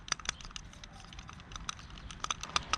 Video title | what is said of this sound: 𝐄𝟑𝟔 𝐜𝐨𝐦𝐩𝐚𝐜𝐭 𝐢𝐧𝐝𝐢𝐯𝐢𝐝𝐮𝐚𝐥 — 𝐌𝟒𝟑 𝐑𝐨𝐮𝐠𝐡 𝐢𝐝𝐥𝐞 𝐟𝐢𝐱 - 𝐕𝐨𝐥𝐮𝐦𝐞 𝟓 | it's okay because it has to be loose like this